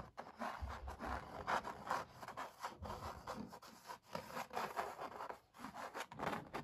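Fingertips and long nails tap and scratch the textured paint surface of an oil painting of puppies on stretched canvas. Quiet, dry scraping and soft taps come in an irregular, continuous stream, with most energy in the midrange around 800 Hz and short, dampened attacks.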